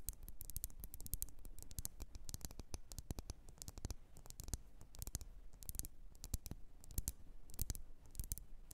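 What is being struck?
Wax-filled glass candle jar.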